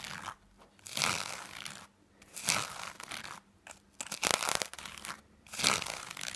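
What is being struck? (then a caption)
Knit fabric. Fingernails scratch and rub the surface of a small black knit textile item held in the hand. Bursts of dry, bright, crinkly scratching come in irregular spells, separated by short near-silent pauses.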